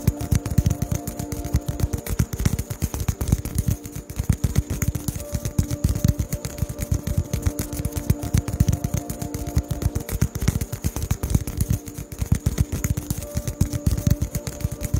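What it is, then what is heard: Styrofoam ball. A small white polystyrene foam ball is tapped with fingertips close to the microphone. It makes a dense, irregular stream of quick, dry, low thuds and soft clatter, with almost no ring after each tap, continuing steadily throughout.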